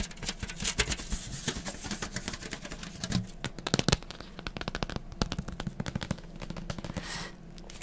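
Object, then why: Cardboard box set of books. A rectangular white and grey cardboard manga box set, a hollow slipcase holding books, is held up in both hands and tapped and scratched with fingertips and nails. Rapid, dry taps with a hollow low thump mix with crisp, hissy scratching, and every hit dies away at once. A few louder knocks stand out around the middle.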